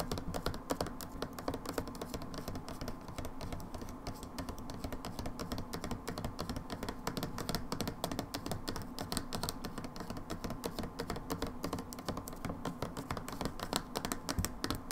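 Long nails tap rapidly and continuously on the front label of an upright plastic hand soap bottle held in both hands. The result is a dense stream of short, dry clicks with almost no ring, weighted toward the low end with a faint steady tone near 1 kHz.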